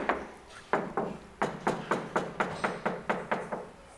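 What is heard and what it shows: A bare steel car roof panel, stripped of its useless factory sound pads and a previous owner's deadening sheet, is tapped 13 times. Each tap gives a short, tinny metallic ring around 400 Hz that fades quickly. The undamped panel rings in the way a sound deadening mat is meant to suppress.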